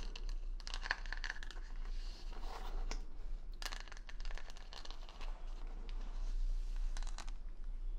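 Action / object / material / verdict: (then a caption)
scrape / wooden hair brush backed with plastic rhinestones / plastic, wood / none. Long nails scratch and tap the plastic rhinestone stickers covering the back of a wooden paddle hair brush right next to the mic. The result is a steady stream of dry, bright clicks and crinkly scratches over a low, constant hum.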